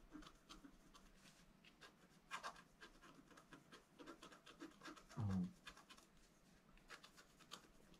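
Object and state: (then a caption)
Scratch art card being scratched. A bamboo stylus scratches a flat black wax-coated scratch art card in a steady run of short, soft scraping strokes with faint bright edges. A brief, louder low thump briefly stands out partway through before the quiet scratching continues.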